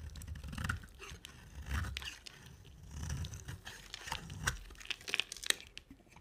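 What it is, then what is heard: Dry bar soap being shaved. A box-cutter blade shaves curls off an oval, solid pink bar of dry soap with a dark coated surface, held in hand. Repeated crunchy, scraping cuts carry a low rumble beneath bright, crackling bursts, with a few sharper snaps near the end that stop dead without ringing.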